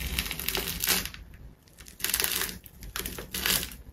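A large, solid ball of layered colored plastic tape wrapped in gold is sliced with a metal craft knife and pressed with fingers. It gives bright, dense crunching and crinkling in several bursts, with quieter gaps between them.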